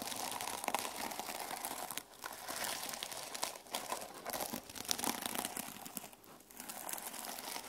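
Fingertips and nails brush and scratch the plastic sequin cover of a closed mermaid sequin journal resting on a wooden table. The result is a continuous, bright, crinkly rustle of dense clicking scratches, with a few brief quieter pauses between strokes.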